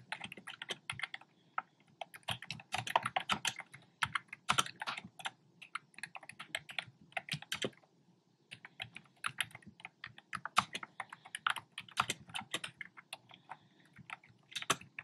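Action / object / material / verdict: tap / plastic keyboard with round plastic keycaps / plastic / none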